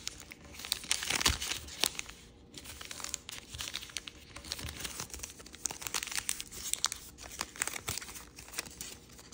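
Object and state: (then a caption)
Origami paper sheet being creased. A red and yellow chiyogami origami paper sheet, folded into layers, is creased and rubbed by fingertips and nails. Dense, crisp crinkling and light tearing-like rustles come in quick bright bursts with brief louder crackles and no ringing.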